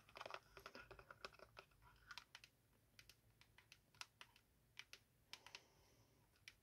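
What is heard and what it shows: Long acrylic nails tap and scratch a small, hollow, square yellow-green printed Hybeads cardboard box held in both hands. The result is a quiet run of quick, dry, bright clicks that stop almost instantly, coming in clustered bursts with light scratchy rustling between them.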